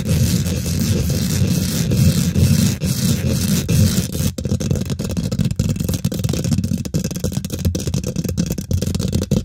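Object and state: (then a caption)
Metal mesh microphone grille. Long fingernails and fingertips quickly scratch and tap the domed, hollow woven metal mesh grille of a large silver condenser microphone with both hands. The result is a dense, continuous, boomy rumble of scraping and rapid taps, heavy in the low end, with brief sharp dropouts and a thin bright hiss in the first half.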